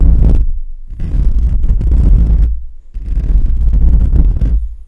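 Fingertips and short nails scratch and rub across the hollow metal mesh grille of a condenser microphone. The result is a deep, muffled rumbling scrape with a steady low hum underneath, coming in long bursts separated by brief dips, with almost all of the sound sitting in the low range.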